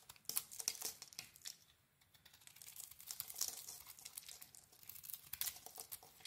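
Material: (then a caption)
Soap. A metal blade scrapes a strip off a solid red embossed soap bar with a cream core, held in hand. The result is a quiet, dense run of crisp, bright crackling and scratching with almost no low end. It briefly fades near the two-second mark before the scraping picks up again.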